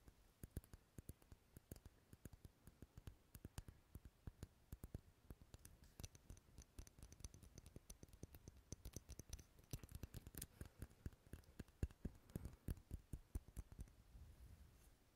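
A large dark red solid wax pillar candle with a textured surface is scratched and tapped with long nails. Dense, quick, dry clicking taps with low, thudding weight run over faint scratching throughout.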